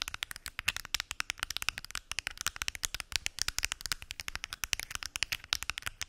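Fingernails tap rapidly and steadily on a pill box, making a dense run of short, dry clicks. The clicks are bright and crisp, with almost no low end and no ring after each tap.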